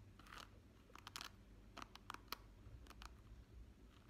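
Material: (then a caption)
Plastic. Fingertips and nails flick and scratch across the tips of a hand-sized hairbrush's flexible, wavy, rainbow-coloured plastic bristles set on a black pad, held close to the microphone. Short, crisp, bright clicks come in quick irregular bursts over a low, steady rumble.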